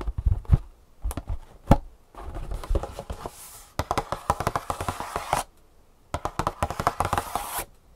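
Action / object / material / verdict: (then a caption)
tap / printed cardboard shoe insole box / cardboard / none. A hollow, printed cardboard shoe insole box is tapped with fingertips and nails while lying flat on a table, then lifted and tapped on its side. Quick, dry, hollow taps with a low thump come in fast bursts separated by short pauses, mixed with stretches of bright, scratchy rustling from the nails on the cardboard.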